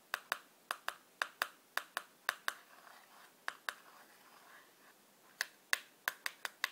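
Long black-polished nails tap rapidly on the top and face of a small, hollow, printed cardboard matchbox held in the other hand. Eighteen short, dry, bright clicks come in quick pairs and clusters, with a soft scratchy rustle filling a pause in the middle. The taps die away almost instantly with no ring.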